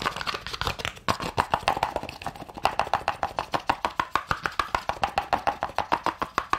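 A small hollow cardboard gift box with a gold glitter lid, held in one hand, is tapped quickly with long nails. The result is a fast, steady stream of short, dry clicks with a hollow tone around 1 kHz and a brief bright edge, each dying away almost instantly.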